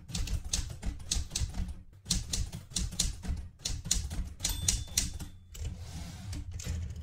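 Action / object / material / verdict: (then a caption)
tap / metal manual typewriter / metal / none. Fingertips with red painted nails type continuously on the plastic keys of a metal manual portable typewriter. Rapid bursts of bright clacks ride over low, hollow thumps, with short pauses between runs. A faint steady tone rings through the middle of the clip before it settles into softer tapping.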